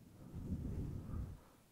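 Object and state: Nothing is struck.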